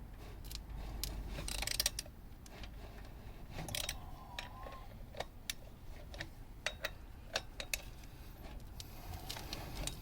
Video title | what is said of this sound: refitting the flywheel and clutch | a nice solid noise rather than hollow noise